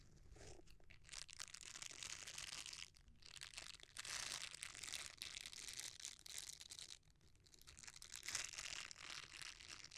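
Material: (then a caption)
Silicone. A folded red silicone bristle scrubber is squeezed by fingers that rub its bristles. It makes a bright, crunchy, crinkling rustle in long continuous bursts, with brief quieter dips between passes.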